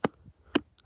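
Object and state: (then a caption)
Hollow-sounding rock. A rock is struck three times, giving short, dry ticking knocks with a hollow, low-mid tone around 285 Hz that die away almost at once. The rock sounds hollow underneath, as if covering a hole, and its front is weak.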